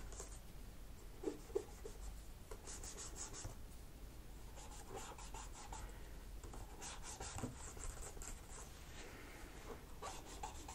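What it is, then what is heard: Plastic laptop keyboard being scraped. A cotton swab is scraped between the black plastic keys of a laptop keyboard, making many small, quiet scratches and rubs. Soft bursts of bright, hissy scraping come and go over a low, steady background, with a couple of slightly sharper ticks early on.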